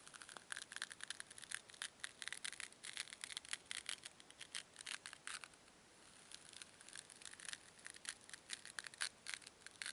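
Two small, solid white foam cubes are crushed and rubbed together by fingertips with long nails. The result is a quiet, dense run of bright, crackly squeaks and crunches with no low end. The texture eases into a soft, steady rub for a moment around the middle before the crackling picks up again.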